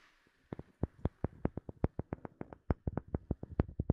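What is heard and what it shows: A wooden object is tapped in a quick, uneven run of about 22 short, dry knocks. The knocks are soft, low and hollow-sounding, and each one dies away almost instantly, with a faint hiss at the start.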